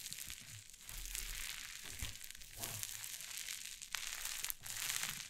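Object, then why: Cloud slime on a wooden table. White cloud slime on a wooden table is torn apart and pressed with fingers and long nails. It makes a steady stream of soft, bright crinkling and crackling with a few sharper snaps, and little low-end weight.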